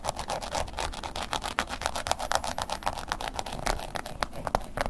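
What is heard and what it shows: A wooden ear pick scratches across the surface and edge of a black woven-embossed leather long wallet lying flat. The result is a quick, uneven run of dry, crisp scrapes with short bright clicks over a low rumble.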